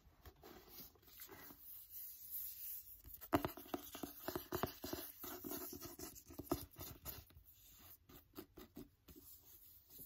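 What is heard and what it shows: Fingertips and nails tap and scratch the paper covers of a "Wonder" paperback book held in one hand, first the back cover and then the front. The sound is a quiet run of soft, dry taps and scraping scratches with short bursts of quick tapping.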